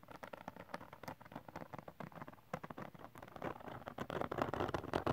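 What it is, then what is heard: Glitter cardstock sheet being scratched. Fingernails quickly scratch a textured glitter cardstock sheet, producing a dense, irregular run of short, dry scraping bursts. The sound sits mostly in the mids, with little high-end brightness, and grows louder and busier toward the end.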